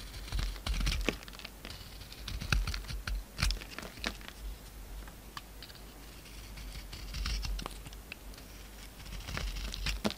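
A utility knife shaves a solid, hand-sized oval bar of soap with a gold coating over a pink core, held in the palm. Quick crisp scrapes and flaky crackles come in uneven bursts over a steady low hum, with bright edges on the sharper cuts.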